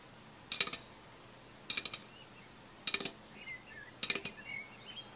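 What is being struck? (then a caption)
Aluminium drink can. An unopened, full 330 ml orange Fanta aluminium drink can is held in one hand and tapped on its side with the fingertips and nails of the other hand. Four short bursts of quick, bright, high-pitched taps sound with almost no ring, and faint high chirps are heard between the later bursts.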